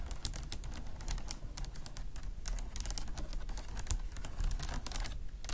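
A vintage beaded flower clutch with faceted glass or acrylic beads lies flat on a fluffy mat while long nails tap and scratch quickly across the bead flowers. Dense, rapid, bright clicks and scratches run continuously over a low background rumble, each click dying away almost at once.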